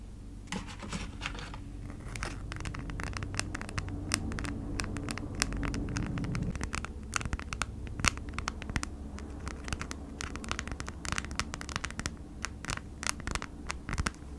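Long nails scratch and tap a folded sheet of stiff, crinkly beeswax-coated cotton food wrap with a honeycomb print. The result is a dense stream of dry, crackling scrapes and sharp bright ticks over a steady low hum.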